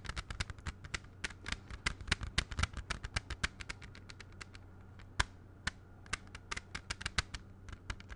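Fingertips tap rapidly and unevenly on a closed clear plastic CD jewel case held in both hands, making sharp, bright clicks with no ring. The tapping quiets around the middle, with one louder tap near the fifth second, then picks up again over a steady low hum.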